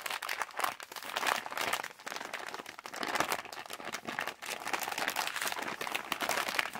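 Fingers scrunch and crinkle a partly filled yellow Halls plastic candy pouch while fingertips scratch its surface. The result is a dense, continuous stream of crisp, bright crackling with no low end and a few brief pauses.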